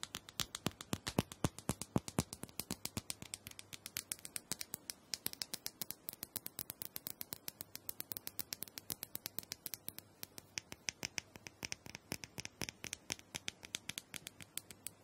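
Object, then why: Small round plastic dome massager. Long nails tap and scratch a small round purple plastic dome massager, likely hollow, making a steady stream of rapid, quiet, crisp clicks. The taps come in quick, uneven bursts with a bright, dry edge and no ring, over a faint hiss of scratching throughout.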